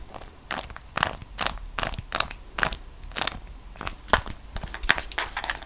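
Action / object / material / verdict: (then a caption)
scrape / beeswax-coated cotton food wrap / beeswax cotton / none. A folded beeswax-coated cotton food wrap is held in both hands, bent and squeezed while long nails scratch across its surface. Dry, bright crinkles and sharp crackles come in quick irregular bursts, some louder snaps standing out, with no ring after each one.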